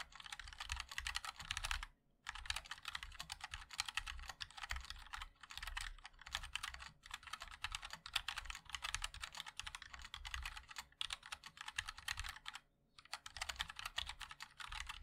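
Fingertips of both hands type continuously on a compact 60% mechanical keyboard with a black case, white and black plastic keycaps and linear switches. Rapid, bright, clacky keystrokes run almost nonstop, with a soft low thock under each press. Brief pauses break the flow near the 2- and 13-second marks.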